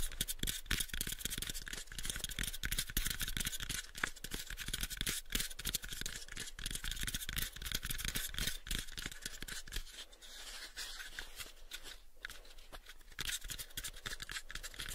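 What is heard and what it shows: Short fingernails rapidly tap and scratch the surface of a light, pale wooden cube box held in both hands. The clicks are quick, irregular and dry, with bright scratchy texture and a low hollow thump beneath. Each tap dies away almost instantly, with no ring.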